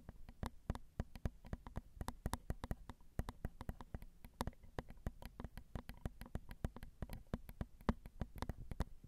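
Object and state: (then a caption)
Metal microphone capsules tapped with fingernails. Long acrylic nails tap on the crossed silver metal X/Y microphone capsules of a Zoom recorder, which are small and hollow. A steady, irregular stream of quick, dry clicks follows, each with a dull low thump and almost no ring, over a quiet low hum.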